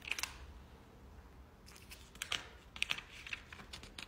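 A hand with short teal-painted nails rubs across the pages of a large, open, glossy paper product catalog lying flat and flips them. Quiet, bright papery swishes and rustles are punctuated by sharp, crisp crinkly ticks as the pages slide and turn.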